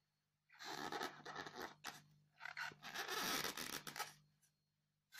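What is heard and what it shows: Long fingernails scratch the top of a solid, square white polystyrene foam block with loose beads, making dry, bright, squeaky scraping strokes in two main bursts with a few shorter scratches between and after.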